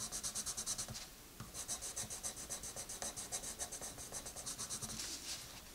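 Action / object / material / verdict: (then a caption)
scrape / wooden colored pencil on paper coloring book page / paper / none. A dark wooden colored pencil with a red end scratches dense, rapid back-and-forth strokes across the paper page of an open coloring book lying flat. The strokes make bright, hissy scraping bursts in a steady rhythm, with a brief pause about a second in before the scribbling resumes.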